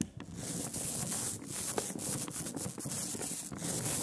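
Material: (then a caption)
Ink, glass. A rubber brayer rolls back and forth over a smooth layer of sticky black printing ink on a glass slab. It makes a continuous tacky, sanding-like hiss with bright high crackle, pulsing gently with each stroke.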